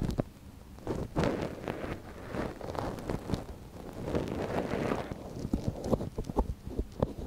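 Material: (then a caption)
Silicone. A soft silicone ear on a binaural microphone is held folded by a gloved hand while a thin wooden stick scratches inside its canal. Close, crackly rustling and scraping come with dull low thumps and frequent short clicks. The scratching swells in soft bursts and grows busier and more clicky toward the end.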